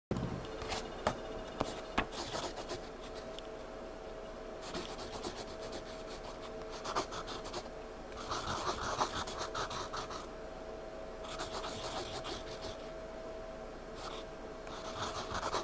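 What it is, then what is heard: Pencil shading on a paper sketchpad. A graphite pencil held in the fingers scratches and shades back and forth on a page of a spiral-bound paper sketchpad lying flat on a surface. Bursts of bright, raspy scratching alternate with quieter gaps, and a faint steady tone hums underneath throughout.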